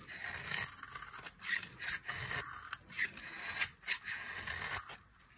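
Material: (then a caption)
Soap. A metal knife blade carves and scrapes flakes off the edge of a solid, palm-sized oval bar of dry pink soap held in one hand. The result is a run of dry, crisp scraping strokes, bright and hissy, each with a sharp tick where the blade bites and almost no low end.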